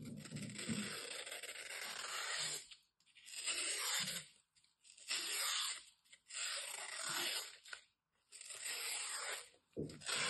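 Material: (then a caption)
Floral foam. A metal utility knife scores and scrapes through a thin, solid, dry slab of green floral foam held in both hands. Bright, gritty scraping and crunching comes in repeated strokes separated by brief silent pauses, with little low-end weight.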